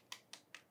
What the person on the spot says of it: Oh, and you can hear how crisp that batter is.